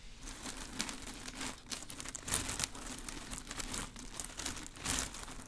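A bunch of green plastic artificial grass leaves is held near the mic and rubbed, crinkled and brushed with long nails and fingers. The result is a dense, bright crinkling and rustling with short scratchy bursts, swelling louder around the middle and near the end. A faint steady low hum runs underneath.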